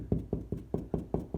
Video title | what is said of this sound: Quick Way to Find and Locate Wall Studs - Magnet and Knock Test plus Baseboard Installation | knocking again over wood where the stud is it's not as hollow sound